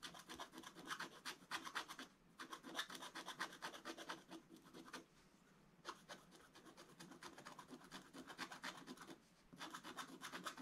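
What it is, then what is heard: Scratch-art paper being scratched. A wooden stylus scratches fine strokes into the black coating of a scratch-art paper page. Quick, bright, dry scraping strokes come in dense bursts, with short quiet pauses around two, five and nine seconds before the scratching resumes.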